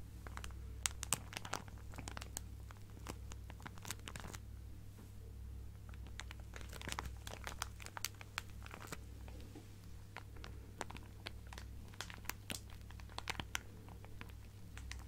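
A clear plastic zip-lock bag full of fabric scraps is crinkled and scratched with long nails. The result is a quiet, continuous stream of crisp crinkling and scratching clicks with bright, sharp transients over a steady low hum.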